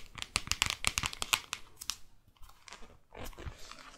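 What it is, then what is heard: Paperback guidebook tapped and scratched. Long nails scratch and tap the glossy front and back covers of a New York paperback guidebook. Quick, irregular bright clicks and scrapes come in a dense burst over the first 1.5 seconds, then soften into quieter scratching and a faint rustle.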